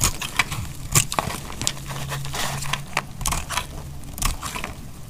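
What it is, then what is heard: Dry laundry soap bar being cut. A solid, dry brown bar of laundry soap, held in the hand, is sliced into layers with a metal utility knife blade. The cutting makes dry, crisp crackling and scraping with irregular sharp snaps and bright crinkly texture over a steady low hum.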